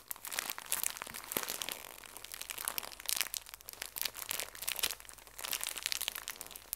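A small, full pocket tissue pack in thin plastic wrap is pressed and crinkled by fingertips and nails. The result is a steady stream of bright, crackling crinkles with sharp little snaps that stop instantly. The sound rises and falls in quiet waves, with almost no low end.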